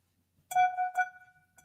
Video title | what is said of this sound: SUPER Monday Market LIVE SALE - Angie & AL - Curated Unique Finds - Mar 31st @6:30pm et (3:30pm pt) | It's got a crystal ring to it. Glass goes thud, but crystal will will go ring ring.